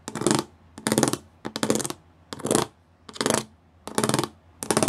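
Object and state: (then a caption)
Plastic studded panel. Fingertips and nails tap and scratch across a flat grey plastic sheet covered in rows of small square raised pyramid studs. Seven short bursts of rapid, dry, bright clicking are heard, each a quick run of tiny ticks with almost no ring. Quiet pauses separate the bursts.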